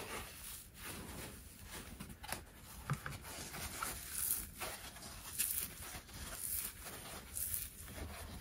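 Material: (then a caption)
Polyurethane foam. A dry, hand-sized rectangular kitchen sponge of yellow polyurethane foam with a green abrasive scouring layer is squeezed, bent and rubbed with the fingertips of both hands over an empty white plastic basin. The result is a quiet, continuous scratchy crackling and rustling with bright hissy bursts and a low rumble underneath.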